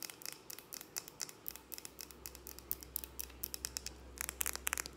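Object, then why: Glass jar candle. Long acrylic nails tap fast on the sides and base of a large, hand-held glass jar candle filled with purple wax and wrapped with a ribbon label. The result is a quick run of sharp, bright clicks with almost no ring, over a faint low hum that starts partway through.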